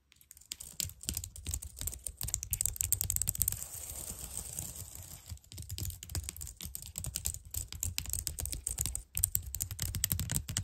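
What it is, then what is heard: Plastic computer keyboard. Long dark-painted nails tap and type rapidly on the keys of a white plastic computer keyboard lit by colored lights. A dense stream of quick, bright plastic clicks rides over soft low thuds, with a steadier, busier stretch in the middle before the separate taps return.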